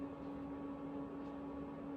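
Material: Nothing is struck.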